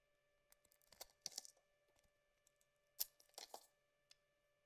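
A thin metal blade carves away the outer layer of a solid yellow bar of soap in scraping and shaving strokes. Quiet, bright, crisp scrapes come in short irregular bursts, bunching into two louder clusters near the start and later in the clip. A faint steady hum of tones runs underneath.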